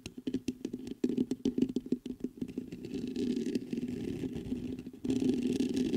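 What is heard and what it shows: Fingertips scratch the mesh grille of a black metal USB condenser microphone, making a rapid run of quick, dry scratching taps with a boomy low-mid resonance. After a few seconds the taps blur into a continuous rough scraping rub, which grows louder near the end.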